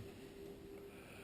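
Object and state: Nothing is struck.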